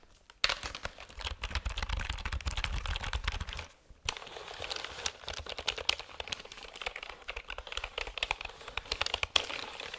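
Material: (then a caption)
Plastic. A full-size black plastic computer keyboard is held up near the mic while fingertips and nails tap and press the keys rapidly. The result is dense, bright clicking with a low rumble under the first few seconds. A brief pause comes just before the four-second mark, then the clicks resume and continue.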